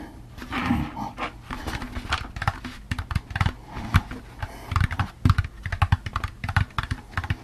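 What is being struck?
Plastic pumpkin candy bucket.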